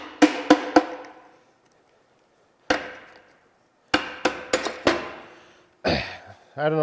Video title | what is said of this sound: Smoked NV4500 - 2hr teardown! | heard it get Hollow as I was tapping it but that helps to loosen it and lessen the chance of bending the PTO cover